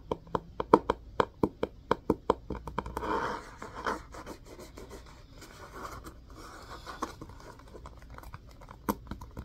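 An orange hardcover book with a cloth-covered cardboard cover is held in both hands while fingernails scrape and scratch its spine. A quick run of short, crisp scratches gives way to a longer, continuous rough rasp, with a few sharp scratches returning near the end.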